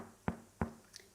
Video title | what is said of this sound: Emmer wheat sourdough (it's beautiful) | it passed the Hollow knock test so it's definitely cooked